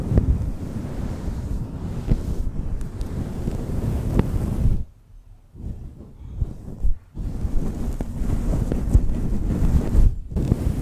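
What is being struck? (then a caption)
Faux fur microphone windscreen. Long pointed nails scratch and fingers stroke a fluffy grey-white faux fur windscreen on a black microphone. This makes a dense, low, muffled rustling and rumbling with no high content. The sound drops to near silence around the middle, then picks back up with steady scratching to the end.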